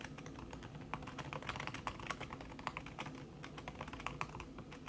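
Fast typing with fingertips and long red-painted nails on a thin backlit aluminium keyboard whose plastic keys sit under a red silicone skin. The result is a dense run of soft, quick taps with short, muffled clicks and brief bright ticks over a low background rumble.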